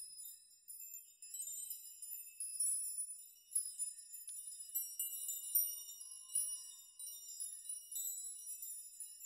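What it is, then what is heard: Metal nail chime. A curtain of hanging metal nails on a nail chime is brushed through with the palms and fingertips of both hands, rocking and shaking the rods so they collide. The result is a continuous, quiet, bright tinkling and jingling with short, shimmering rings, all high-pitched with no low end, swelling and easing as the hands move through.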